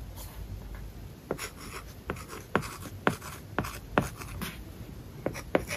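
A plastic stylus writes words on an iPad lying flat, its glass screen covered with a matte plastic paper-like film. Soft, scratchy strokes are broken by short, sharp taps as the tip meets the surface, over a quiet, steady background hiss.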